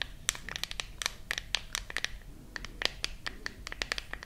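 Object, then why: Glass and metal smartphone. Long nails scratch and tap the back of a silver glass-and-metal smartphone held close to the microphones. The result is a rapid, uneven series of sharp, dry clicks with a bright, high ring, set over a faint, low rumble.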